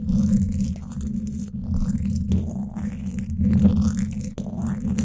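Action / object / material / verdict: scrape / woven steel mesh microphone grille scratched with wooden sticks / steel mesh / none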